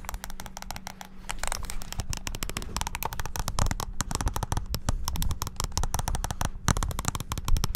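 A small black handheld plastic mini wireless keyboard is held close to the mic while fingertips press its keys rapidly. The result is a dense, continuous stream of sharp plastic clicks and clacks with a low, thumpy body, each click dying away almost instantly.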